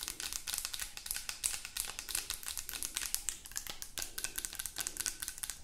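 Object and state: Plastic lotion bottle.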